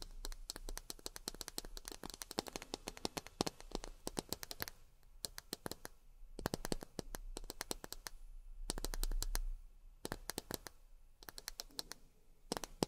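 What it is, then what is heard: Miniature plastic glasses tapped with fingernails. Long fingernails tap rapidly on miniature plastic drinking glasses, producing bursts of sharp, dry clicks with almost no ring. The taps come in dense clusters separated by short pauses, over a faint low background hum.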